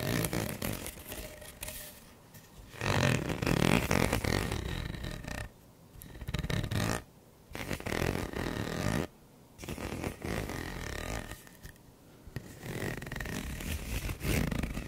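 A purple hollow corrugated plastic pop tube is held horizontally while fingertips and nails scratch along its ridged surface. The result is a dense, raspy, low-heavy buzzing scrape that comes in bursts separated by short quiet gaps.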